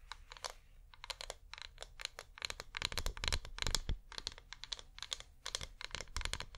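Fingernails tap rapidly on a flameless wax pillar candle held upright in both hands. The quick, dry, clicky taps come in irregular bursts of bright, crisp ticks that die away almost instantly, over a faint low rumble.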